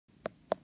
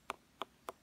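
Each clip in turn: First: Two short, dull mid-pitched taps with no ring, the soft thud of a ripe jackfruit. Second: Three quick, crisp taps with a fairly high, tight tick and no boom: an unripe jackfruit.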